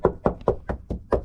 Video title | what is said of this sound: THE E36 IS RUINED FOREVER | it sounds solid, so it should be fine